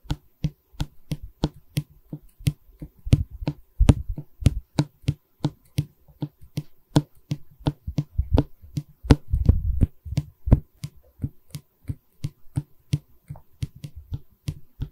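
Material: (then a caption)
Wood. Long fingernails tap quickly and steadily on the solid pine bar of a wooden canvas stretcher frame held in both hands, making about forty short, dull, low knocks with crisp clicky tops and almost no ring. Brief rough scratching on the wood thickens the sound around the third to fourth second and again near the ninth to tenth.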